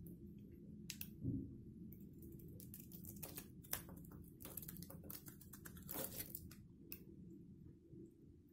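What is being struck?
Soap bar.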